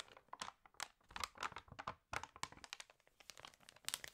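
An open, water-damaged glossy paper fashion magazine has its pages turned and crinkled while long nails rub across the paper. Quiet, dry, crackly crinkles and short scratchy rustles come in quick uneven bursts, bright and crisp with almost no low end. Each sound stops sharply without ringing.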